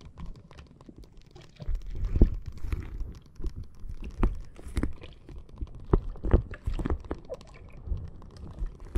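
A clear plastic bag full of red water beads lies flat on a microphone while long nails tap and scratch across it. The result is soft, low, muffled patters and crunchy scratches with brief sharp taps, the energy sitting mostly in the low range.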